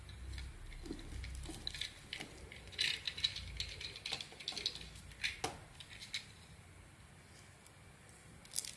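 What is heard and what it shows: A small metal blade scrapes and carves shavings from a solid, hand-sized bar of soap held in one hand; the bar is light blue with brown spots on the outside and white inside. The sound is a quiet run of crisp, bright scraping ticks and short crackling bursts, with a few sharper snaps. It eases into a faint hiss before one last bright scrape at the end.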